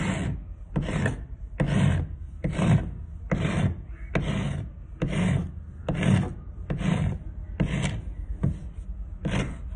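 A thin solid wooden stick, held by hand over a pile of sawdust on concrete, is filed with a round metal rasp in back-and-forth strokes. Each stroke makes a rough, scraping rasp with a low, woody body and a bright hiss on top, repeating about once a second with brief gaps between.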